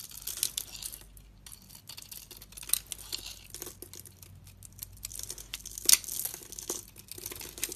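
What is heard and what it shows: A utility knife blade shaves curled flakes off a solid, rounded dark green bar soap with a green speckled coating held in the hand, and fingers then crumble the flakes. The cutting and scraping give a quiet, bright, crisp crackle of short dry ticks and rasps with almost no low end, with a few sharper scrapes standing out.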